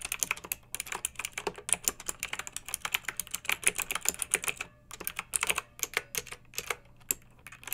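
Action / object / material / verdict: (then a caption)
tap / plastic mechanical keyboard keys / plastic / none. Long nails and fingertips of both hands type on a pink backlit mechanical keyboard with round typewriter-style plastic keycaps, resting on a fluffy rug. A steady run of quick, bright, clicky keystrokes with sharp, dry attacks pauses briefly near the middle and then resumes, over a faint low hum.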